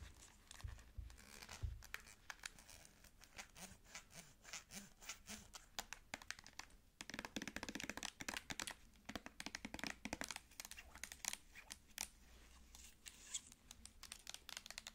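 Long nails tap and scratch a full-looking L'Oreal cosmetic squeeze tube made of soft plastic. The result is a quiet, rapid stream of bright, crisp clicks and crinkly scratching with almost no ring, plus a few soft low thumps near the start. The tapping grows denser and louder in the second half.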